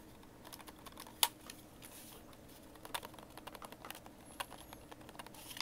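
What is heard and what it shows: A hand-sized, hollow white plastic Xbox game controller is held in both hands while thumbs and fingertips press and click its buttons and thumbsticks. Quiet, bright, dry clicks and soft tapping patter scatter through the clip, with a few sharper, louder clicks standing out that stop almost instantly.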